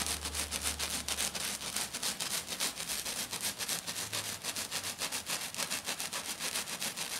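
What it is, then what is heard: Glitter-covered sheet scratched. Both hands with black nails scratch hard and fast across a flat sheet covered in silver glitter. The result is a steady run of rapid, rhythmic rasping strokes with a bright, hissy texture and a faint low hum underneath during the first couple of seconds.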